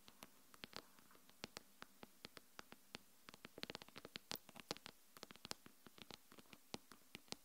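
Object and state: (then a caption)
Glass smartphone screen tapped with nails. Long acrylic nails tap and scratch the glass front screen of a small, solid smartphone lying face up on a wooden table. Over forty sharp, bright clicks sound in irregular quick bursts, each dying away almost instantly, with faint scratchy friction between them.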